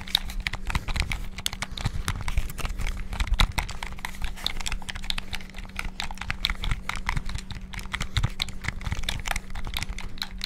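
Fingertips rapidly tap the buttons of a white and black hollow plastic PS5-style gamepad. The result is a fast, dense stream of short, dry plastic clicks with bright edges, over a steady low hum.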